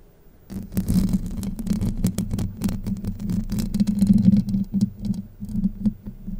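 Long light-blue nails pinch and scratch the top of a Blue Yeti microphone's hollow, domed steel wire-mesh grille, then scratch along the right side of the mesh. After a brief quiet start, a dense run of rough scratching and sharp crackles rides over a steady low, humming rumble that swells and fades with the strokes.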